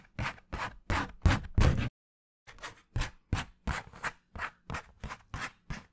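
Fingernails scratch a flat piece of brown cardboard held close up, making a series of short, dry, raspy strokes in a loose rhythm. The strokes are broken by a brief silence near two seconds, with a soft low thump under each bright scratch.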